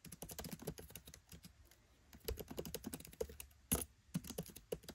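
Fingertips type on a MacBook Pro 13 laptop keyboard with black plastic keycaps set in an aluminium body. Rapid runs of soft, short key taps come in bursts, with a quieter pause in the middle and one sharper, brighter tap near the end.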